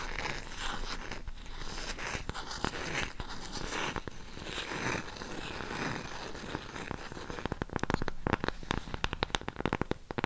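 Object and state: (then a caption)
Cork coaster. A round cork coaster with a raised rim is scratched and tapped with long pink acrylic nails. The first part is a steady dry scratching and crinkling rustle. From about 7 seconds it gives way to quick, sharp, dry taps that die away instantly.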